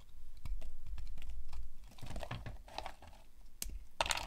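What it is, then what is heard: Dry soap bar being carved. A utility knife blade cuts crisp slices and flakes off a solid, dry, cream-white bar of soap held in the hands. Quick dry scraping and crackling cuts come over a low, soft rumble, ending in a bright, crisp burst of shaving.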